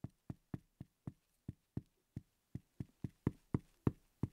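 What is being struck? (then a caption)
Small wooden letter block tapped with a wooden pencil. A wooden pencil tip repeatedly taps and knocks the top of a small solid wooden letter block marked "X". Fifteen dry, hollow knocks with a low thud around 125 Hz die away almost at once, at an uneven pace. The later knocks land a little harder.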